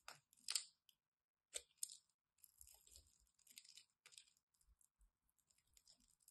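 A solid blue and white striped bar of soap, held in the hand, is scraped and cut with a craft knife. The sound is quiet and bright, made of crisp scratchy scrapes and short clicky cuts. Some strokes stand apart and others run together in rasping stretches.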